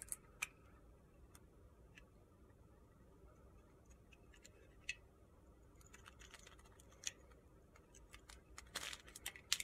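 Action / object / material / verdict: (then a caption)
scrape / soap bar scraped with a steel blade / soap / none. A steel utility-knife blade scrapes the face and corner of a solid pale pink soap bar held in the hand, shaving off crumbly bits. Quiet, sparse, bright, crisp scratches and ticks sound over a low background hush. A denser gritty scraping burst comes near the end.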